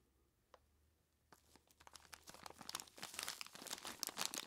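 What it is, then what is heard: Plastic bag of ice cubes. A large clear plastic bag full of ice cubes is grabbed and squeezed by hands in knobbly rubber monster gloves. After a near-silent start with one faint tick, dense bright crinkling and crunching begins and grows steadily louder and busier to the end.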